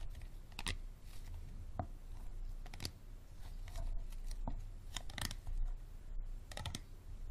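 Fingertips and nails tap quickly on the textured sides of an empty, hollow, clear plastic water bottle with a green cap. The taps come as sharp, bright clicks and crinkles over a steady low hum.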